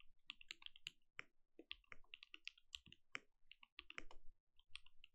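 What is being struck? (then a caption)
Mechanical keyboard with plastic keycaps. Both hands type with their fingertips on a compact mechanical keyboard with plastic keycaps, producing a rapid, uneven run of short, dry clicks. Each keystroke has a bright click centered around 2.3 kHz, a soft low thock beneath it, and almost no ring.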